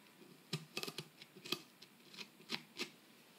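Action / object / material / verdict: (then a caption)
scrape / plaster block scraped with a metal pick / plaster / none. A metal pick tool held in the fingers scrapes and chips at the surface of a solid plaster dig-kit block, with plaster dust collecting around the tip. Sharp, bright scratchy clicks come at irregular intervals, each dying away almost instantly over a faint, quiet background hiss.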